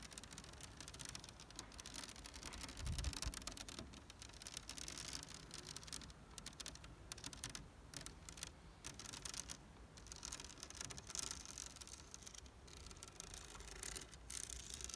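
Fingernails and fingertips scratch and tap across the large black woven plastic rattan seat of a chair with a hollow frame. The result is a steady, quiet stream of bright, crackly scratching and short, dry taps, with a low thump around the three-second mark.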